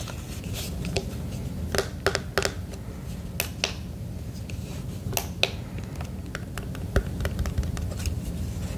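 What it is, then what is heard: Plastic emergency radio. Fingertips tap the casing of a red and black plastic emergency radio held upright with its solar panel side showing. The sound is a scattered run of short, dry, bright clicks that die away almost instantly, with a few louder taps, over a steady low rumble.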